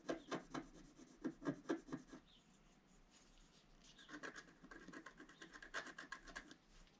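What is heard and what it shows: A wooden stylus scratches the black coating on the central orange flower of a flat black-coated scratch-art paper card. Quick dry scratching strokes come in short rasping bursts for about two seconds, then a quiet pause follows. A denser run of softer, brighter scratches continues to the end.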